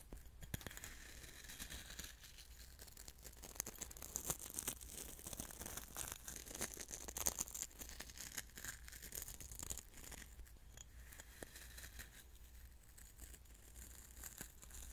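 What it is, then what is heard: Coarse salt stirred in a glass bowl. Fingertips stir and rub loose coarse salt grains in a small clear glass bowl, giving a steady granular crunching and scratching. The sound is quiet and bright, made of many quick crisp grain clicks over a low steady hum.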